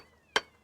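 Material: Limestone.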